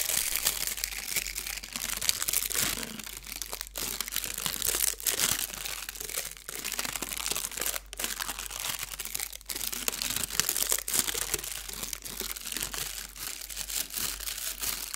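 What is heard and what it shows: A thin blue metallic foil sheet is stretched and crumpled between the fingers of both hands. It gives off a continuous bright, crisp crinkling with fast crackles and brief pauses, with almost no low end.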